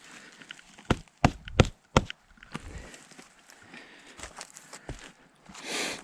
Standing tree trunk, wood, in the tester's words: you can hear the difference for sure